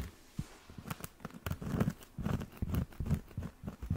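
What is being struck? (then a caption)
Round cork coaster. Fingernails scratch the edge and then the face of a round, solid cork coaster, held first edge-on and then face-on. A rapid series of short, dry scratching bursts is heard, with dull, low-heavy body and quick decay between strokes.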